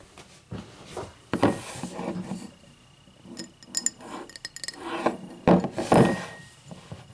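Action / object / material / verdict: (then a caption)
tap / cut crystal highball glass / crystal glass / none. Long matte black nails tap and scratch the sides of a tall, empty cut-crystal highball glass standing upright on a white table. Irregular light taps give short, bright clinks that fade almost at once, mixed with soft scratching rubs along the glass.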